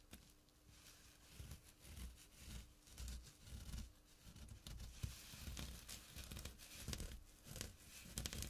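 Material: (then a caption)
Jute burlap. Short nails scratch the coarse jute weave of a small, flat burlap drawstring pouch. Rough, rasping bursts of scratching come in uneven waves, with dull low thumps underneath and a bright, papery hiss on top. A faint steady hum runs throughout.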